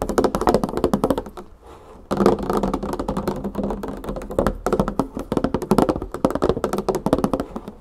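Long painted fingernails and fingertips tap quickly on the paper label and side of a large 3 L clear plastic jug full of olive oil. The result is a rapid run of dull, muted taps with short decay and little brightness, broken by a brief quiet pause before the tapping resumes.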